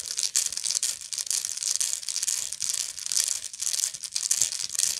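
Long nails scratch the textured weave around the central spiral of a round, hollow woven straw/raffia bag held in both hands. The result is a continuous, dry, crinkly scratching that rises and falls in rapid strokes, with its energy almost entirely in the high, bright range and no low-end weight.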